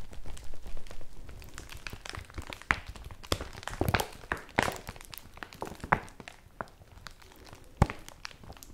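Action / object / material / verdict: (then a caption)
scrape / woven polypropylene bag / polypropylene / none. A folded yellow woven polypropylene bag is held in both hands while long nails scratch and tap it. The sheet crinkles under a steady stream of soft, dry scratching and sharp clicky taps, which are close and quiet overall.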